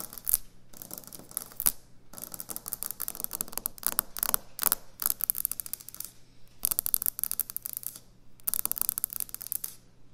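Fingernails tap and scratch quickly on a solid white speckled quartz or stone kitchen countertop. The sound is dry, bright clicking and scraping that comes in bursts with short pauses, over a faint steady low hum.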